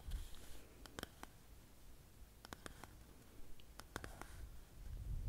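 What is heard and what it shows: A small, hollow Glee Gum printed cardboard chewing gum box is turned in the hands while long painted fingernails tap and scratch its sides and barcode face. Sharp, dry clicks stand out over a quiet, low rumbling background, with some soft scratching between them.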